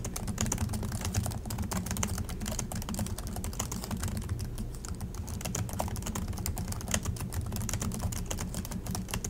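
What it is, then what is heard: Plastic laptop keyboard. Continuous fast fingertip typing with both hands on the plastic chiclet keys of an Acer laptop keyboard. Dense, sharp clicks and taps run without a break over a steady low hum.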